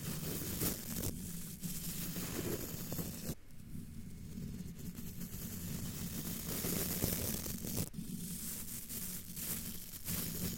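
A thin brush, held by a hand with long dark nails, sweeps across a hollow, domed black metal wire-mesh microphone grille, producing a steady scratchy, rustling brush noise heavy in the low end. The brush lifts off briefly partway through, leaving a short quieter gap before the brushing resumes with a sharp scrape.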